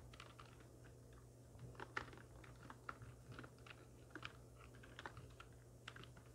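Irregular typing on a full-size black plastic computer keyboard with hollow keys, resting on a wooden desk and struck by the long nails and fingertips of both hands. The keys give sharp, short clicks with a bright tick over a steady low hum, with a few louder taps standing out.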